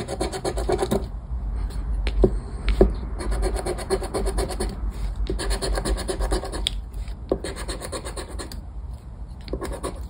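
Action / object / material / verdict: scrape / paper scratchcard on a wooden table / coated paper / none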